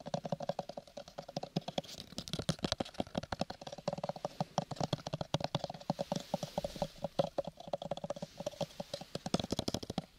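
Fingertips and nails tap and scratch on a small, hollow, square purple cardboard gift box covered in linen-textured paper. A fast, steady run of short, dry taps gives off a hollow low thump with a boxy midrange ring, under a faint scratchy rustle. Each tap dies away almost at once.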